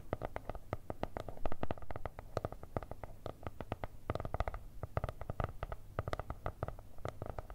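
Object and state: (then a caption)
Kraft cardboard notebook. Long red nails tap and scratch rapidly on an upright spiral-bound notebook with a kraft cardboard cover and stickers. The result is a dense run of short, dull, low-heavy taps with brief scratchy streaks, each tap dying away almost instantly.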